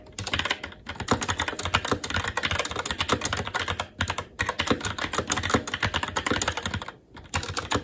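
A SteelSeries Apex 7 TKL mechanical keyboard with red linear switches, black plastic keycaps and an aluminum plate is typed on continuously by the fingertips of both hands. Rapid, crisp key taps clack in dense bursts with a bright top. Brief pauses come near 0.8, 4.1 and 7 seconds.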